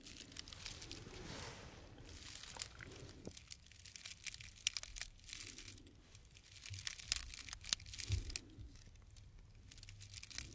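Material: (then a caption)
Dried grass. Fingertips rub and scratch the cut end of a tied bundle of green dried grass stems held in the hand. Soft, dry crinkling and crunching scratches come in slow waves, with bright, brittle crackles over a faint low rumble. The sound stays quiet and close throughout.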